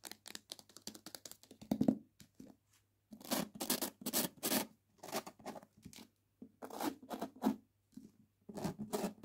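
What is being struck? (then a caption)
Hardback book with glossy paper dust jacket. A hardback book with a glossy paper dust jacket is held in the hands while long nails scratch and tap the jacket, which is partly lifted from the book. Quick papery taps alternate with longer, bright, crackling scratch strokes, separated by short silent pauses.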